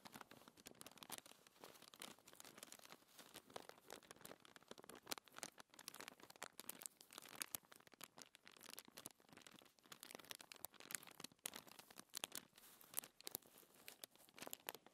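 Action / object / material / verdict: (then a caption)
scrape / thin paper sheet / paper / none. Long-nailed fingers scratch and rub a flat, thin white paper sheet lying on a table, slightly crinkling it. A quiet, dense run of bright, dry scratching and crackling with almost no low end continues steadily throughout.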